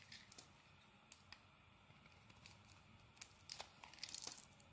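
A solid dark green bar of soap, held in the hand, is shaved with a metal blade. Quiet, bright, crackly scraping comes in short, sharp ticks over a soft hiss. The cuts grow louder and closer together toward the end.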